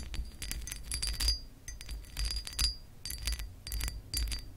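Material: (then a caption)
Glass. Long acrylic nails on both hands scratch along the ridges of a hollow pressed glass lamp base with a raised pattern. Bursts of quick, bright clicking ticks carry a short high glassy ring over a steady low hum.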